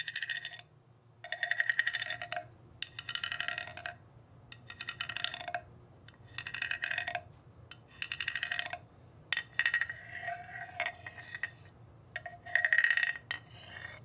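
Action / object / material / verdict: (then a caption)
scrape / hollow bamboo tube with ridged slats, scraped with a wooden mallet / bamboo / none. A hollow bamboo tube with ridged slats, resting on carpet, is struck and scraped with a round-headed wooden mallet. Bursts of rapid, clattering taps ring with a bright tone near 1.9 kHz and a lower resonance around 650 Hz. The bursts are separated by short pauses.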